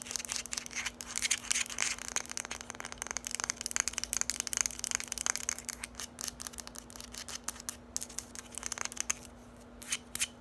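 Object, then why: Small hard plastic bottle. A small, hollow lime-green hard plastic bottle is tapped fast and scratched with long nails while being turned in the hands. It makes a dense run of crisp, bright clicks and scratchy rasps that thin out toward the end, over a faint steady low hum.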